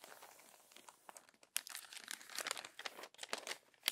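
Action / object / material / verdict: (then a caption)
scrape / glossy paper magazine pages / glossy paper / none. Crumpled pages of an open glossy paper magazine are smoothed flat and rubbed with the fingertips and palm. The result is bright, dry crinkling and crackling: soft at first, then louder, denser bursts with sharp snaps and almost no low end.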